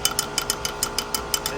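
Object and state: Rattling clutch release bearing.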